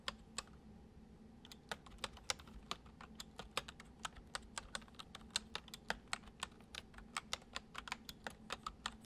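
Fingertips type on a full-size white plastic computer keyboard resting on a wooden desk. About 38 short, bright key clicks land in an uneven rhythm over a low, steady hum, each one dying away almost instantly.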